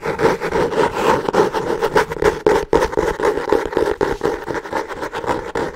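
A solid hardcover notebook with a brown, textured kraft- or cork-like cover is scratched quickly with long nails. The result is a steady stream of rapid, dry, rasping strokes with a mid-range papery tone and a brighter hiss, rising and falling in short bursts.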